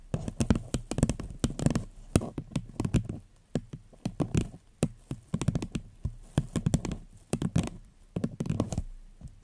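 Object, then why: Paper cup. An empty floral paper cup held over the mic is tapped and scratched with long nails and fingertips. Quick, dull hollow taps come in uneven bursts, with soft scratching between them and a low, boomy body.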